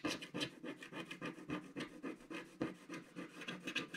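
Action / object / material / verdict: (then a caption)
scrape / coated scratch-art card and wooden stick / coated card / none. A wooden stick scratches fine lines into a flat, solid, black-coated scratch-art card page. About fifteen short, dry, raspy strokes repeat in a loose, uneven rhythm, each with a bright, papery edge. The sound stays quiet and close, with almost no low end.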